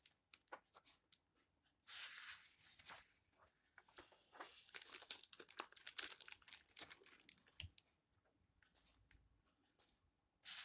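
A flat hand with long nails rubs across the yellowed paper pages of an open old book, and then a page is turned. Quiet, bright, crinkly rustles and tiny ticks give way to louder papery swishes and crackles in the middle, with a final brief rustle at the end.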